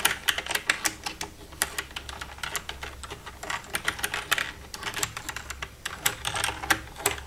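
Long red-painted nails tap and type across the keys of a black plastic desktop computer keyboard with a hollow casing, using both hands. The result is a rapid, uneven stream of sharp, bright plastic clicks and clacks that die away almost instantly, with soft hollow knocks underneath.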